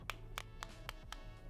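A finger flicks the plastic charging case of Olike EJ1 Bluetooth 5.3 wireless earbuds five times, giving short, dry clicks with a bright tick around 1.2 kHz and almost no ring over a low steady hum. The case sounds fairly solid for its price of about 100,000 rupiah.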